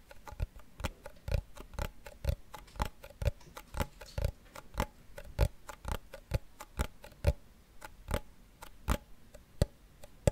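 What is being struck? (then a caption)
Small wooden cigar box. A small hollow wooden cigar box with a printed paper label on the lid is held in the hand and tapped with fingernails. It gives a steady run of quick, dry ticking taps, each a short low knock with a faint bright click. The taps die away at once with no ring.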